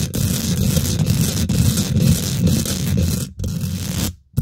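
Long nails and fingertips quickly scratch and tap the domed, hollow woven metal mesh grille of a large silver condenser microphone with both hands. The result is a dense, continuous rasp heavy in low rumble, with brief brighter clicks. The sound dips near the end, then stops before a final short burst.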